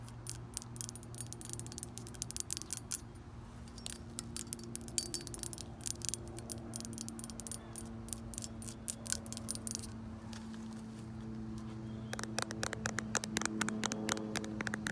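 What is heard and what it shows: Long acrylic nails tap and scratch a hand-sized, hollow iridescent blue-purple glass garden gazing ball on a copper stand. Quick, bright, sharp clicks come in uneven bursts over a steady low hum, with a quieter scratchy stretch midway. The tapping grows denser again near the end.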